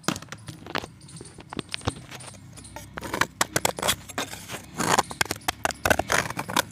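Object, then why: Pressed chalk disc scraped with a blade. A solid pressed chalk disc is scraped with an orange box-cutter blade over a pan of chips. The clip is a rapid series of short, dry, bright scraping and crunching strokes with crumbling crackle between them. The strokes grow louder and denser after the third second, peaking around the fifth.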